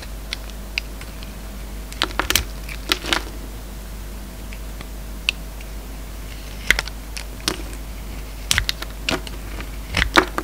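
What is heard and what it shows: An oval solid soap bar with a glossy red shell and a peach core is held in the hand and shaved with a utility-knife blade, peeling off long curls. Short, crisp scraping clicks sound in scattered clusters, bright and quick to fade, over a steady low hum.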